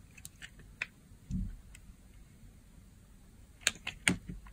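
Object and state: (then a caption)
Dry bar soap being cut. A blade scrapes and slices surface layers off a solid, pale green bar of dry soap held in the palm. Five irregular, crisp, bright snaps and clicks stand out over faint scratching, with one duller, lower scrape near the middle. Each sound is short and dry, with almost no ring.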